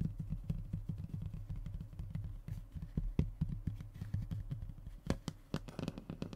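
Fingertips and short nails of both hands rub and tap the surface of a thin, solid, flat brown fiberboard (hardboard/MDF) panel lying on a wooden table. A rapid, steady stream of soft, dull, low thuds around 150 Hz is heard, each dying away almost instantly. A few sharper, brighter clicks stand out near the end.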